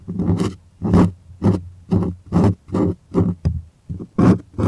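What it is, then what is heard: Stretched cotton canvas on wooden frame. Fingertips and nails scratch the surface of a stretched white cotton art canvas on a wooden frame, up close, with hollow space behind it. A series of short, rasping scratch strokes comes in quick succession, each with a deep, hollow boom and a bright, scratchy edge. The strokes are separated by brief near-silences.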